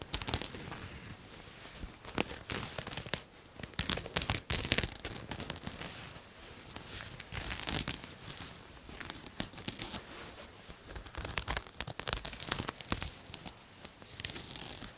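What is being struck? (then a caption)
Satin jacket with raised embroidery. Long nails scratch and pick at a pink satin jacket with colored floral embroidery, making dense, crisp scratching and crinkly, tearing-like rasps. Quick bright clicks and picks rise and fall in short bursts throughout, with a faint low rumble underneath.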